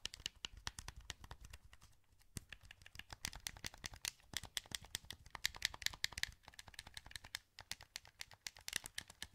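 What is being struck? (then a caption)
Plastic game controller. Fingertips click the buttons of a hollow, translucent green plastic PS2 wireless controller held in both hands. A rapid, uneven stream of short, dry, bright plastic clicks and taps continues throughout, easing briefly around the two-second mark and again near six and a half seconds.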